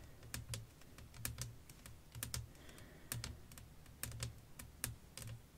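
Long nails tap across a flat, clear glass sheet resting over lace fabric. They make an irregular series of quick, sharp, bright clicks with a soft low thud beneath each tap and almost no ring.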